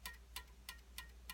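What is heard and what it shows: A steel guitar string is tapped against a fret five times during a neck setup, after the truss rod was loosened about a quarter turn. Each tap gives a short, bright metallic tick with a ring near 1.9 kHz, over a steady low hum. The audible tapping shows the neck now has relief, so the string clears the fret.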